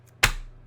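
A stack of fake plastic $100 bills is smacked once, giving a single sharp, bright slap with a plastic-like snap. The sound decays quickly over a steady low hum. Unlike a real stack of bills, the fake stack sounds plasticky.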